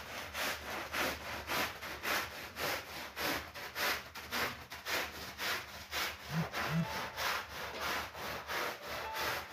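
A long-handled push brush with stiff bristles scrubs back and forth across a large, flat woven rug covered in soapy foam and lying on a tiled floor. Each stroke makes a bright, rasping swish in a steady, fairly regular rhythm of nearly two strokes per second, with a faint wet crackle between strokes.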